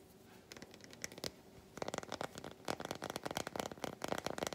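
Long white nails scratch the flat back of an unwrapped solid milk chocolate bar, making quiet dry scratchy strokes. They start sparse and turn into a dense run of quick raspy scrapes with brief bright clicks, with little low end.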